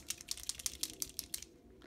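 An Elmer's Painters plastic paint marker, its plastic seal removed, is shaken until the little ball or plastic piece inside rattles freely. The result is a quick run of sharp, bright clicks that fade into quiet at the end. The clicking means the ball is moving and mixing the paint, so the pen is ready.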